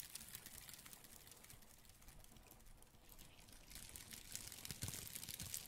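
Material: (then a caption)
Bark. A hand-sized piece of light brown, rough, flaky dried tree bark, possibly cork bark, solid and layered, is held close to the microphone in black-gloved hands and crinkled, scratched and rubbed with gloved fingertips. It gives soft, bright, dry crackling and scratchy crinkles in quick irregular bursts, quiet at first and growing a little louder and crunchier toward the end.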